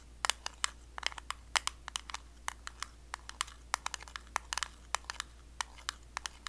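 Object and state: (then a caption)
Metal cream tin. Long blue acrylic nails tap the lid of a small, round, closed blue metal Nivea Creme tin in a quick, irregular series of sharp, bright clicks. Each tap stops almost instantly, over a faint, steady low hum.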